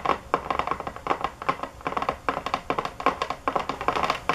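Fingernails tap hard and fast on a box, making a quick run of dry, clicking taps in short bursts. Each tap is sharp with almost no ring, centred in the midrange with little bass.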